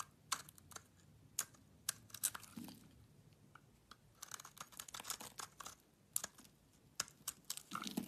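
A solid green bar of soap is held in the hand and carved and shaved with a utility knife blade. The quiet recording is a run of many short, crisp scraping and crackling cuts, bright and high-pitched, with soft rustling between them and almost no low end.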